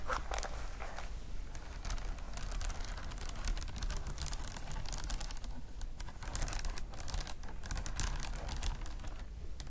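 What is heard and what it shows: Long nails tap and scratch the faceted glass or acrylic beads of a vintage beaded flower clutch lying flat on a fluffy mat. A steady stream of quick, bright clicks and rattly scratches plays over a constant low hum for the whole clip.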